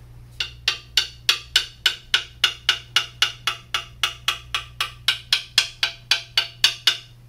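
A quarter coin held between the fingertips taps repeatedly along the top tube of a hollow carbon fiber mountain bike frame with a white, raw finish, clamped in a repair stand. Twenty-five short, bright, dry clicks land at a slightly uneven pace, each centered around 3.3 kHz and dying away almost instantly. A faint steady low hum sits underneath.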